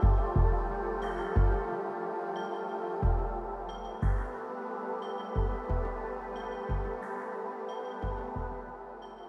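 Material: Nothing is struck.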